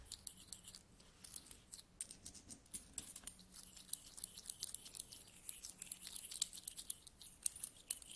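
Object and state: Pile of metal coins.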